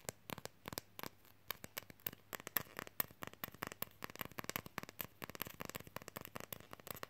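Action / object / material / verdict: tap / thin lenticular plastic fridge magnet / plastic / none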